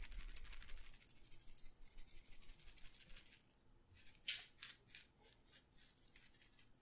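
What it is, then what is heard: Glass pepper grinder full of peppercorns. A small glass pepper grinder jar with a plastic grinder top, full of whole peppercorns, is held by the fingertips and shaken and tilted so the peppercorns rattle inside the glass. A dense, bright, continuous rattle runs for about three and a half seconds, then stops briefly. It resumes as a series of separate short, crisp shakes that gradually fade.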